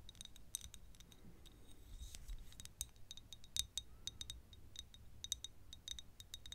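Long nails tap a small, thick glass perfume bottle, partly full of yellow liquid, close to the mic. The result is a quick, irregular run of sharp, bright clicks with a glassy ping around 3.7 kHz that dies almost instantly. A low, soft rumble sits underneath.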